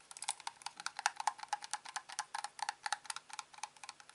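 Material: Plastic.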